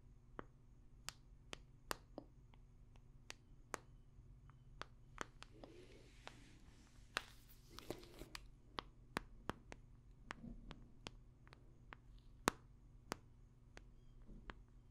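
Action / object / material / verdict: tap / smartphone in a hard plastic case / plastic / none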